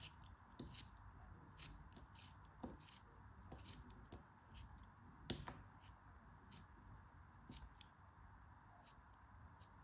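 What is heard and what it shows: A metal craft knife blade slices and scrapes through a yellow piece of kinetic sand held in the hands. Soft, crisp cutting ticks and brief bright scratches repeat over a quiet, low, grainy background.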